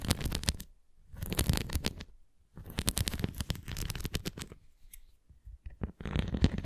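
Long nails scratch and tap the rim and nubbed surface of a translucent red plastic flying disc toy, held edge-on and tilted. Bursts of quick, dry scratching and tapping come in irregular clusters with short quiet gaps between them. The sound is mostly low and rumbly, with brief bright clicks.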